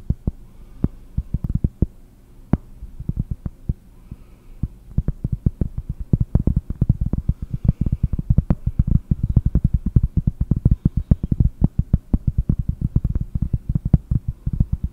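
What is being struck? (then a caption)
Round cork disc. A round solid cork disc, held in both hands, is tapped with long painted nails. It makes a rapid, irregular flurry of short, dull, low thuds with almost no ring. The tapping starts sparse and soft, then grows denser and louder after about five seconds.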